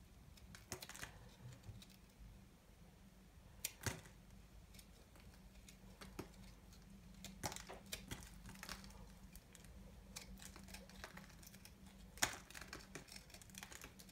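A small knife shaves and scrapes crumbly flakes off a fist-sized, solid ball of dry pastel multicolored soap held in one hand with long painted nails. Short, crisp, bright scrapes and clicks sound at irregular intervals, with the sharpest cuts near the start, middle and end. A steady low hum runs underneath throughout.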